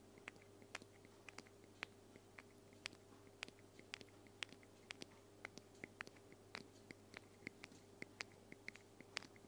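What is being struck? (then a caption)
Aluminum aerosol spray can. A small white-grey aluminum aerosol spray can, hollow metal, is held upright beside the recorder and tapped with long fingernails. About 29 quick, separate taps produce sharp, bright clicks with almost no ring. A faint steady hum runs underneath.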